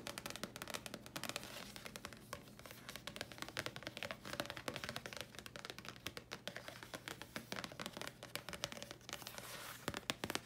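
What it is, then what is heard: Paper card tapped with nails. A thin, flat red printed Thayers paper card is held upright and tapped with the long nails of both hands. It makes a quick, continuous flurry of crisp, bright clicks and light papery scratches over a faint steady low hum. Each tap dies away almost instantly.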